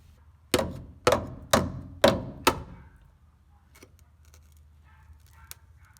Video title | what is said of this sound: Frame Rust Hammer Test: 1985 Toyota Pickup Truck 4wd | that doesn't even sound right ... it sounds hollow